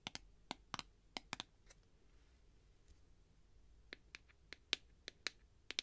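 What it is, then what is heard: Clear plastic tube container. Long nails tap the wall and black plastic end cap of a clear plastic tube holding sponges. Around fifteen short, dry, bright clicks come in an uneven series, with a pause in the middle. Each tap stops instantly over a faint background hiss.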